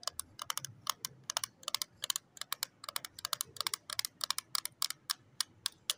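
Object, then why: Small plastic case holding lip tints. Long nails tap on the lid of a small, closed pink plastic case of lip tints resting on cloth, first with one hand and then with both hands. The result is a steady stream of sharp, bright plastic clicks that die away almost at once, quick and uneven in rhythm like fast typing, over a faint low hush.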